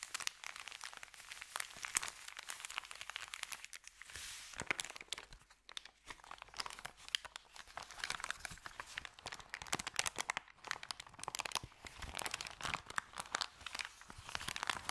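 A thin, empty, crumpled white Subway paper bag is rubbed with the fingertips, then opened and handled by hand. It makes dense, bright crinkling and crunching with many quick, sharp snaps. There is almost no low end, and the sound rises and falls in waves throughout.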